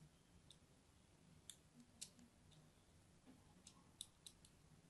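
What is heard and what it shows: A blade scores crosshatch lines into a hand-held, purple-and-white striped solid bar of soap. Nine short, crisp, bright scratches sound out at an uneven pace over a quiet, low background hiss.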